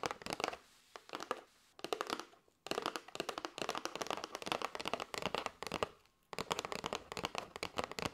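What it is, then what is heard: Cardboard box of paper straws. Long white nails tap rapidly on the face and edge of a flat kraft cardboard box with a clear plastic window, full of paper straws. The result is dense bursts of dry, crisp clicks with a papery rattle, bright and thin with almost no low end, separated by brief pauses.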